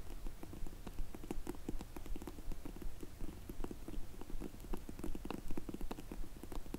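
Long nails slowly tap the ends of a closed, dark grey faux leather hard sunglasses case held in the hands. The result is a steady series of soft, dull, low-pitched taps with almost no ring and a faint bright tick on some strikes, set against a quiet low rumble.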